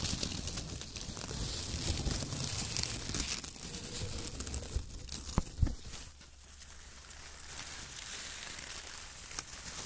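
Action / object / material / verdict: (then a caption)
scrape / shredded kraft paper strips / paper / none. Fingertips of both hands grab and crumple handfuls of a light, loose pile of thin torn brown kraft paper strips on a white table. Dense crinkling and tearing rustle fills the clip, with a low rumble underneath and a few sharper crackles near the middle before the sound eases to a softer, quieter rustle.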